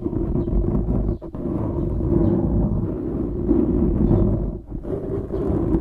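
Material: Foam.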